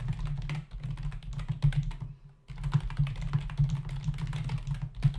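Both hands type with their fingertips on a black plastic membrane computer keyboard resting on a desk; the keyboard has a hollow body and plastic keys. A steady stream of soft, dull key taps with a low, hollow thump is heard. The taps pause briefly around the two-second mark, then resume.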